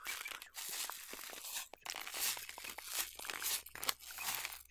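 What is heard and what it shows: A small clear plastic clamshell tub full of flax seeds, with a paper label, is held in one hand and tapped and scratched with long nails, and may be lightly shaken so the seeds move. The result is a dense, bright stream of crisp crinkling, scratching and crunching clicks with almost no low end, pausing briefly between bursts.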